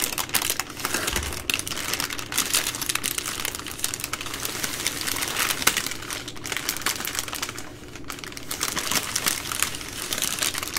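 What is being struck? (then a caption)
Soft plastic wrapping on a multipack of wipes. A plastic-wrapped multipack of baby wipes, a bundle of three full soft plastic packs, is held in both hands while nails scratch and fingers squeeze the plastic. A steady, dense stream of bright crinkling and scratchy rustling runs throughout, easing briefly near the eight-second mark before picking back up.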